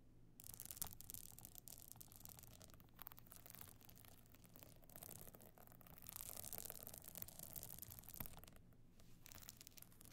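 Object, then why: Evening clutch covered in stone or sequin chips with a metal frame. Long nails scratch over a small, flat, hollow evening clutch covered in glittering stone and sequin chips with a gold metal frame. The result is a steady, bright, rasping scratch over a low hum, growing louder around the middle of the clip before easing off.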